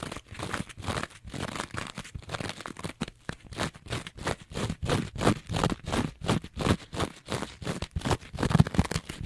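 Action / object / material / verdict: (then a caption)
scrape / foam kitchen sponge with a scouring-pad layer / foam, nylon / none. A rectangular two-layer kitchen sponge, with a green scouring pad on one side and yellow foam on the other, is held flat in both hands while long nails scratch fast across the green scouring side. The result is a quick, uneven run of dry, crunchy scratching strokes, about three per second, each with a low body and a brief bright rasp that dies away almost instantly.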